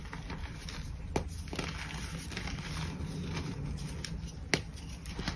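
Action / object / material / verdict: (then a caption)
scrape / block of gym chalk / chalk / none. A solid purple gym chalk block is broken into chunks and powder on a white surface, with both hands squeezing, crumbling and rubbing the crumbly chalk between the fingers. A steady, soft crackling and gritty crumbling runs throughout over a low rumble, with two sharper snaps standing out.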